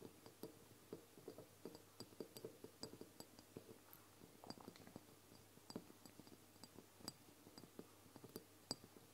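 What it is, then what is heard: Glass dropper bottle tapped and scratched with nails. Long blue nails tap and scratch the sides of a medium brown glass castor oil bottle with a dropper cap, which holds liquid and stands on a wooden table. A steady run of quiet, sharp clinks with bright glassy tops is heard, each dying almost instantly, over a soft low hum and faint scratching.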